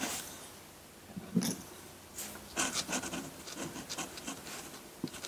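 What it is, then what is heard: Drawing paper scratched by a pen nib. A metal dip pen nib scratches dense hatching onto a flat sheet of white drawing paper. Dry, bright, raspy strokes come in short, irregular bursts over a soft hiss, with a sharper scrape standing out near the start.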